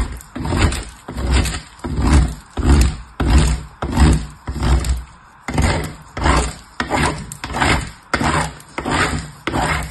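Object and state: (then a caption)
Soap bar grated on metal grater. A small purple piece of soap is rubbed with long-nailed fingertips across the fine holes of a painted metal box grater. It makes repeated scraping, rasping strokes in a steady back-and-forth rhythm, each stroke a dull, low-heavy grind with a thin bright edge.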